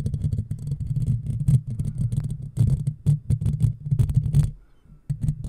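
Long fingernails on both hands scratch and rub the black, round, woven steel mesh grille of a hollow microphone. The result is a dense, close, low rumbling scrape with bursts of brighter scratchy texture. It dips nearly silent near the end before the scratching resumes.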